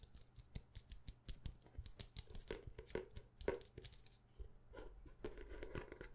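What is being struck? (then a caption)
Hardcover notebook. Long nails quickly tap and scratch the cover of a dark hardcover notebook held in the hands. The result is a quiet, rapid, uneven patter of short, dull knocks with a low thump, mixed with bright, dry scratching clicks that die away almost instantly.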